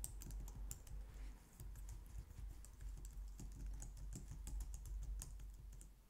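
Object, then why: Plastic computer keyboard. Long nails and fingertips type on a compact, low-profile white plastic computer keyboard. The result is a steady stream of quick, bright clicks and taps over a low, dull background rumble.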